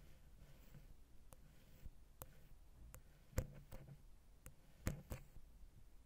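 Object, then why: Metal stereo microphone capsule. A wooden ear pick taps and scratches the side of a silver metal XY stereo microphone capsule on a Zoom H6 recorder. Quiet, irregular sharp clicks with a very short ring stand out over a soft, low, rumbling scratching bed, with the strongest taps near the middle and end.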